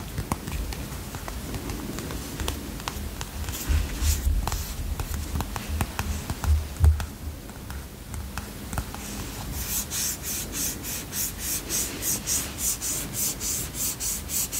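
Fingertips and short nails tap and rub the green printed cardboard cover and edges of a small, hand-sized paper notebook, a solid block of pages. Soft, scattered scratchy taps and rubbing come first, with a few duller, heavier thumps. Near the end they give way to a steady, even run of crisp, bright taps.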